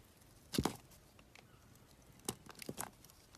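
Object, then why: Solid bar of soap. A hand-held solid blue Cuticura soap bar is shaved and carved with a metal box-cutter blade, and the flakes fall onto the table. Short, dry scraping strokes come in two quiet clusters, crisp and brief with a bright edge, and nothing rings on between them.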